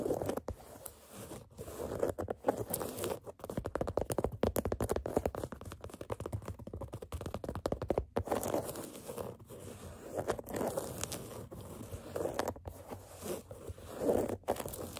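Long nails scratch and tap the black canvas side of an empty sneaker near the eyelets. The result is a dense run of dry, scratchy crinkles and quick short taps, centered in the midrange with little deep or bright content and almost no ring after each touch.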